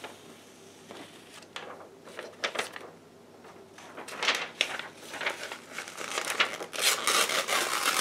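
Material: Paper.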